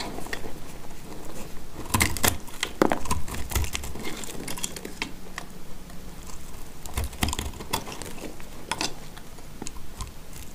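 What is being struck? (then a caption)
Bar of soap cut with a blade. A box-cutter blade scrapes and cuts across a partly cut, solid, dry yellow soap bar held in the hand, shaving off dry flakes. Quick, crisp clicks and scratchy scrapes come in irregular bursts, each dying away almost at once. Beneath them runs a dull, low-weighted rustle.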